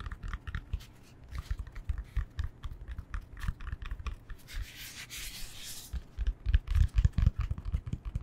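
A yoga block is tapped with the fingertips in quick, uneven bursts, giving soft, dull low thuds that stop almost instantly. A brief stretch of airy, hissing rubbing is heard partway through before the tapping resumes more strongly.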